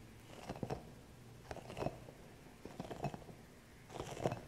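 Fingertips and long nails scratch and tap the soft spikes of a small, green, hollow rubber spiky massage ball. Four quiet bursts of soft, crunchy scratching and light tapping come at roughly even intervals, with hushed pauses between them.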